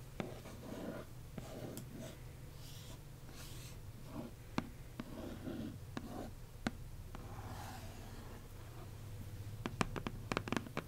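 A single fingernail and fingertips trace and scratch across the tan cardboard top of a box printed "Accio! Exclusive," giving soft, dry scraping strokes over a low steady hum. Nails then tap along the box's lower edge, adding short, sharp clicks that cluster near the end.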